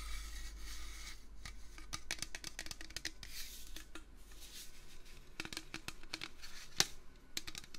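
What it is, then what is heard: Metal can. A metal can is tapped with fingers in a quick, uneven series of light, dry clicks, each crisp and bright with almost no ring. A low rumble sits beneath the first second, and one sharper, louder tap stands out near the end.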